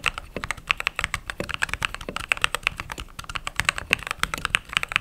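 Fingertips with short pink nails type rapidly on a full-size mechanical keyboard with white plastic keycaps and an RGB backlight. The result is a quick, steady stream of crisp, bright clacks and clicks centered around 2.6 kHz, with very short decay and little low-end thump.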